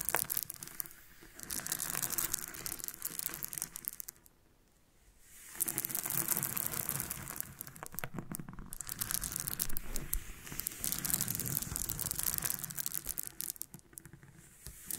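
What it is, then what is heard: Loose freshwater pearls. Long painted nails and fingertips scratch through and roll a pile of small, solid nacre freshwater pearls on a pink surface. The pearls make dense, bright clicking and rattling as they knock together, with brief quieter pauses between bursts.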